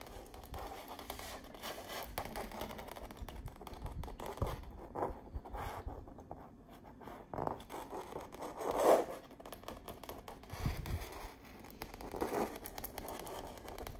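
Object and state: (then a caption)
Painted canvas wall art. Long nails scratch and tap across the textured surface of a painted autumn-landscape canvas wall art piece. The result is a quiet, continuous dry scraping with soft tapping, centred in the midrange with little bright content. One stronger scrape stands out a little past the middle.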